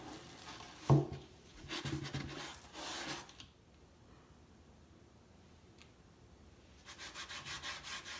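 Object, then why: Wooden crate. A hand rubs and sands the painted slats and corner post of a large hollow wooden crate box stand with a cloth or sandpaper, the other hand resting on top. A low, sharp knock opens the clip, followed by bursts of rough, broadband scraping. After a quiet pause, a run of quick, rhythmic rubbing strokes with a bright hiss closes it.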